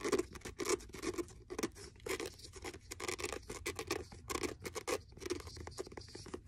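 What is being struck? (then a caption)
Faux leather hardcover notebook. Fingernails scratch along the cover, spine and page edges of a blue faux leather hardcover notebook held in hand. Quick, dry scratching strokes come in a rapid, uneven run, each a short burst of bright rasp over a soft low-mid body that stops almost at once. The overall level stays quiet and close.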